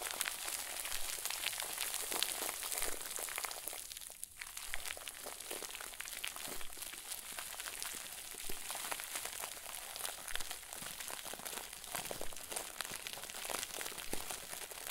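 A round white plastic bag, stuffed and tied into a crinkle ball, is squeezed, crushed and crumpled by both hands. The result is a steady, quiet stream of dense, bright crinkling and crackling with many short, sharp snaps and a faint low background.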